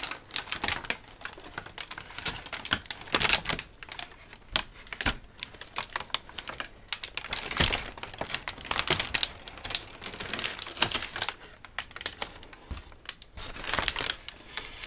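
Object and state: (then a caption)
Crinkled kraft packing paper. A large crumpled sheet of thin brown kraft packing paper is held up and crinkled and rubbed between both hands with fingertips and nails. It makes a dense, continuous crackle of sharp, bright rustles and snaps that swell into louder bursts, with almost no low end and no ring after each crackle.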